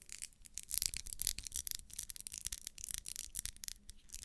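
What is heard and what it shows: Long nails scratch and rub along the vertical ribs of a small solid pink wax pillar candle held in the hand. The result is a quiet, rapid run of bright, dry scraping strokes that crackle densely without ringing. A faint low hum sits underneath.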